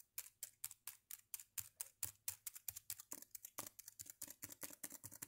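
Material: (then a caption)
Plastic. Fingertips type on the black chiclet keys of a red plastic Dell laptop with a hollow body. The result is a steady run of short, bright plastic clicks that die away almost instantly, spaced evenly at first and then coming faster and closer together toward the end.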